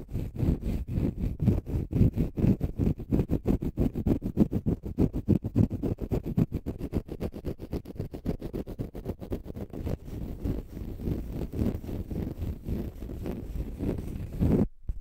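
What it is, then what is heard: Konjac fiber sponge. A palm-sized pale green konjac fiber facial sponge, solid and porous, is scratched and picked at with fingernails. The result is a rapid, uneven stream of short, dull, low scratching rasps that runs steadily for about fifteen seconds and then stops abruptly.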